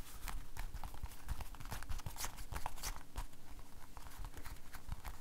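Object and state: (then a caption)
Rubber glove. An empty blue rubber household glove is held up in one hand while the fingers of the other hand rub and flap the rubber. The result is a dense, continuous run of soft, muffled slaps and low thumps, streaked with quick bright squeaks and crinkles from the stretched rubber.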